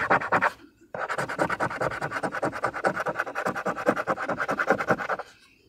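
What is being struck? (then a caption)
Paper scratch-off lottery ticket. A fingernail or fingertip scratches the latex coating off rows of a thin, flat paper or card Michigan Lottery "Wild Time" scratch-off ticket lying on a surface, revealing numbers. A short burst of dry, bright scraping is followed by a brief pause, then several seconds of rapid, steady back-and-forth scratch strokes before it stops.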